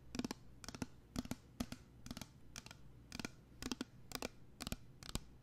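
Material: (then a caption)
Plastic. A small pink plastic body mist spray bottle with a label and white cap, which appears filled with liquid, is held up close to a microphone and tapped and scratched with fingernails. Quick clusters of crisp, dry clicks and scratchy taps repeat steadily, each dying away almost instantly with a faint hollow low body under bright tips.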